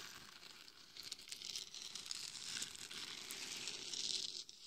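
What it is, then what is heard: Glitter-coated hollow head scratched with nails. Long nails scratch the forehead, top and sides of a hollow, glitter-covered mannequin head that serves as a microphone. The result is a continuous, bright crinkling scratch with dense, gritty texture that rises and falls, swelling toward the end before dropping off.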